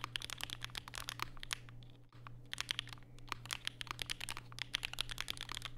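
Fingertips type continuously on a compact black Vega mechanical keyboard with Durock POM switches and plastic keycaps, resting on a desk mat with a white wrist rest. Rapid, bright, crisp clacks with very short decay run over a steady low hum, with a brief lull near the two-second mark before the typing resumes.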